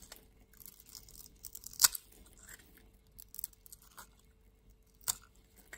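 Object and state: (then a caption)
Bar of soap being scraped. A metal utility-knife blade scrapes the textured surface off a palm-sized solid pink bar of soap held in the hand, leaving crumbly shavings. Quiet, bright, crisp scratching and faint crumbling run throughout, with sharp brief scrape peaks standing out near 1.8 s and 5.1 s.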